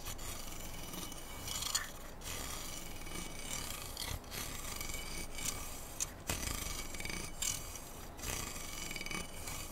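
Fingertips and nails scratch and rub along the rail of a long, hollow, slotted metal handguard near the upper receiver of a black AR-style rifle held diagonally across a lap. A steady, raspy, filing-like scratching with a bright high hiss runs throughout, broken by brief louder scrapes and short dips.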